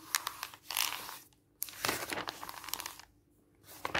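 Fingertips slide and rub across the thin glossy paper pages of an open catalog lying flat, and pages are turned. Bright, crisp rustling and crinkling comes in bursts with brief quiet gaps between them, with almost no low end.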